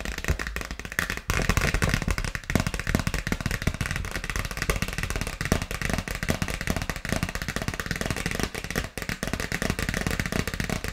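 A dark polka-dot paper gift bag with a ribbon bow and rope handles, hollow with contents inside, is tapped and scratched with long nails. Rapid, dense, dry papery taps and crinkly scratches with a soft low thump run continuously, each tap dying away almost instantly.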